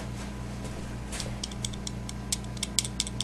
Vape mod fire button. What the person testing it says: it's a noisy button makes me concern that some day this might become an issue